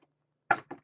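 Two quick knocks on a piece of wood, a sharp hollow tap followed by a slightly softer one, each dying away almost at once. The knocks have a dry midrange body centered around 800 Hz, with a faint brief sound just before them.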